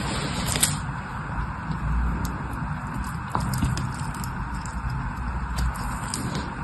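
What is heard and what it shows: A solid orange bar soap held in one hand is shaved and scraped along its edge with a metal knife. The result is a soft, steady scraping with crackly, squishy texture, mostly low in tone, and a few sharper ticks.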